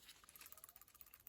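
A PCV valve from a 2011–2024 Infiniti QX56/QX80 or 2017–2024 Nissan Armada is shaken after being cleaned with solvent, producing a quick, quiet, high-pitched rattle of light clicks. The check ball now rattles freely inside, and the check valve springs back into position, showing the valve has been freed up.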